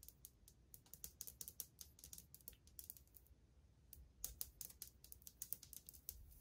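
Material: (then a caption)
Ceramic. Long painted fingernails tap fast in a drumming pattern on old glazed white ceramic subway tiles on a wall, a solid surface. Rapid, sharp, bright clicks with almost no ring come in quick bursts, pause briefly, then resume in another fast flurry.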